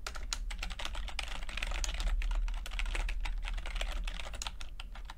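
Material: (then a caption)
Plastic. Fingertips of both hands type continuously on a full-size plastic computer keyboard with red and blue backlit keys and low-profile keycaps. A dense, uneven stream of light, bright clicks and taps runs throughout over a steady low hum.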